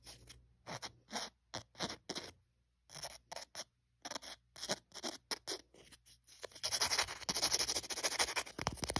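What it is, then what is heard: Emery board nail file scratched. A thin, solid white emery board nail file printed with coloured dots and the word "color" is held in the fingers while fingernails scratch and scrape along its gritty surface. Short, bright, raspy strokes come in separate bursts with brief pauses, then build into a denser, continuous scraping toward the end.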